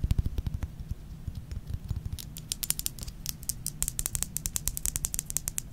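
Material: Glass.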